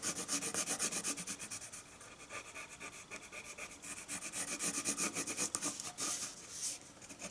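A colored pencil held in the hand scratches across a flat sheet of white drawing paper lying on a wooden table as it draws and shades lines. Rapid, bright, rasping strokes repeat about four times a second in a loose rhythm, softening through the middle before growing louder again.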